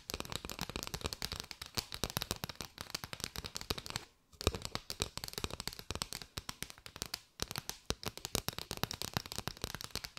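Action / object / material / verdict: tap / bundle of paper drinking straws / paper / none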